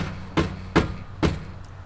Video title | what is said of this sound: BMW M2 Cold Start Exhaust Rattle Fix: Easy DIY | if I tap this side, sounds sort of normal